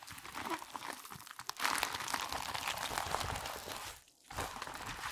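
A thin, flat, wide purple latex resistance band lies loosely folded on a white table while hands in black nitrile gloves rub, squeeze and crumple it, lifting and pressing its folds. The glove-on-rubber contact gives a dense, bright stream of crinkling, crunching and squeaky rubbing. The sound swells louder after about 1.5 seconds, drops to near silence briefly around 4 seconds, then resumes.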